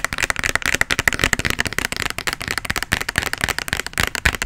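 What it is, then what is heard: Plastic bottle. A medium plastic bottle with a white label, partly filled with red liquid, is held close to the mic and tapped and scratched with fingernails. It makes a rapid, irregular run of short, dry, clicky taps with a bright plasticky edge, mixed with scratchy rustling in between.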